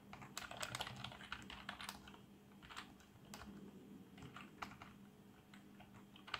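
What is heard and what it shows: Fingertips type on a black plastic membrane keyboard with RGB backlight, making a quick, uneven run of soft, muffled key taps with bright clicky edges. A faint steady low hum sits under the tapping, and the keystrokes end with a sharper final tap.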